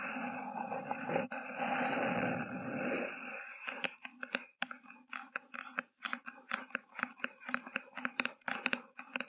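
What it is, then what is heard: Paper cup. Long painted fingernails of both hands scratch and tap the thin, hollow paper sides of a small, empty white paper cup with a green grass print, turned upside down over a microphone. A steady, dense scratching fills the first few seconds, then gives way to a quick, uneven run of sharp, dry tapping clicks with short hollow rasps between them.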